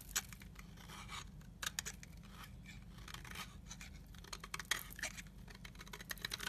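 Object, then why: Bar of soap scraped by a knife blade. A utility knife blade scrapes powdery shavings from the edge of a solid translucent amber soap bar held in the hand. The result is a dry, bright, continuous scratching rasp broken by sharper crisp flicks, over a faint steady low hum.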